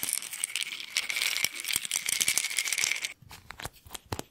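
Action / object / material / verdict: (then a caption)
shake / plastic pill bottle with pills / plastic / none. A small white plastic pill bottle, apparently partly filled with pills, is shaken in one hand in front of the microphone. The contents make a dense, bright, rapid rattle with a faint steady tone for about three seconds. The shaking then stops, leaving only a few scattered clicks.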